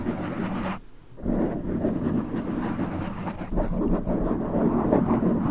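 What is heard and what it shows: Fingertips scratch a black foam windscreen on a silver microphone, then both hands grip and rub it, producing dense, muffled low rumbling and scratching. The sound briefly drops away just before the one-second mark, then returns louder as a steady, thick rubbing with little high-end content.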